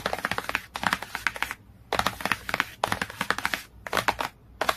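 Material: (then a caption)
Cardboard. Fingertips and nails tap and scratch the cover of a glossy cardboard hardcover book in rapid bursts of short, dry, crisp clicks, with brief quiet pauses between runs. The taps are bright and papery with very little low end, and each one dies away almost instantly.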